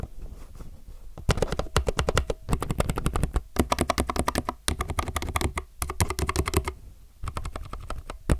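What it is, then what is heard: Mechanical keyboard with plastic keycaps. Fingertips of both hands type densely on a low-profile mechanical keyboard with plastic keycaps, producing rapid, crisp clacks with a dull low thump beneath each stroke. After a quiet first second, the typing comes in fast bursts separated by brief pauses, and each short click dies away almost instantly.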